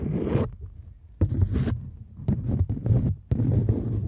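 A folded polymer £20 banknote, held in both hands, is scratched and rubbed with long nails. It makes repeated dry, zipper-like rasping strokes with a heavy low rumble underneath, broken by short quieter pauses between bursts.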